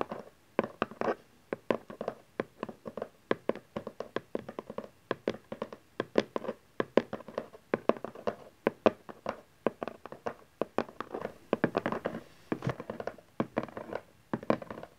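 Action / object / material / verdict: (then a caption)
tap / cardboard box / cardboard / none. Fingertips and nails tap rapidly on the long printed side of a cardboard camcorder box lying on satin fabric, after hands first hold its ends. The taps are short, dry and hollow, with little ring, a mid-range body around 540 Hz and faint bright clicks from the nails.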